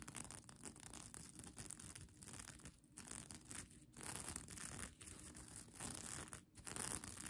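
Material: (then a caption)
Plastic. Long nails scratch across the plastic sequins of a bunched-up sequin blanket, producing a dense, continuous scratchy rustle with a bright, crinkly edge. The scraping runs in bursts separated by brief dips in level.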